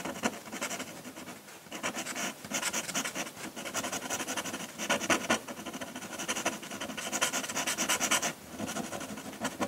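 A metal dip-pen nib scratches dense, rapid hatching strokes across a flat sheet of drawing paper while drawing a landscape, staying on the paper throughout. The sound is a continuous, bright, dry scratching and rasping with quick rhythmic surges in loudness and almost no low end.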